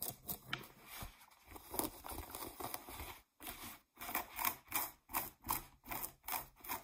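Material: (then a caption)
Denim. Long nails and fingertips scratch the waistband and pockets of blue cotton denim jeans lying flat. Quiet, bright rasping scrapes start as a continuous texture, then break into a steady series of short, separate strokes, each fading quickly.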